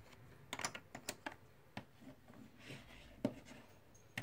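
Fingertips pick up, stack and click together small solid plastic/clay composite poker chips from stacks in a white tray. Eight short, sharp, bright clicks ring out over a quiet, soft shuffling rustle. Each click dies away almost instantly.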